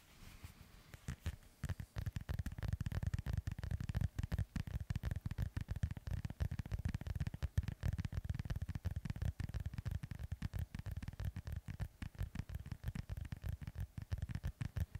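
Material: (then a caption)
Synthetic leather. A hand-sized white, black and yellow soccer ball with a synthetic leather cover, hollow and inflated, is held in one hand and scratched close to the mic with the fingertips and nails of the other. The result is a dense, steady stream of rapid, short scratchy strokes with a deep, hollow low-end rumble and a faint crackly hiss throughout.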